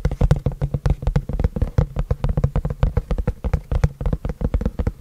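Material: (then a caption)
Cardboard. Fingertips tap and scratch the front face of a long, flat, white printed cardboard keyboard box held upright in both hands. The sound is a fast, irregular run of short, dry, hollow taps, heavy in the low end with very little ring, mixed with brief scratchy brushes across the surface.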